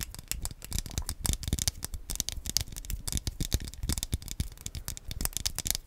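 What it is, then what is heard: Plastic game controller, hollow. A small black hollow plastic Wii Nunchuk controller is held close in both hands while fingertips and nails tap and scratch across its face and buttons. The result is a rapid, dense run of short, dry clicks and scratches with bright high ticks over a soft low thump, each one dying away almost at once.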